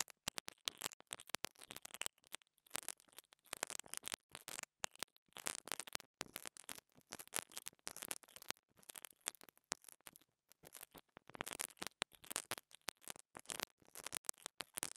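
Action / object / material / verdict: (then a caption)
scrape / small plastic microphone capsule with grille / plastic / none. A small pink dental brush scratches and brushes the grille of a small black plastic lavalier microphone capsule held in the fingers. Quiet, crisp, bright scratching and bristly rustling come in rapid irregular bursts with short silent gaps and almost no low end. Each stroke is dry and cuts off instantly.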